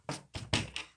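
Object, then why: School desk. Four knocks on a desk, each a short dull thunk with a low body and a bright attack that fades quickly. They show that sound travels through a solid, and the knocks come through loud and clear.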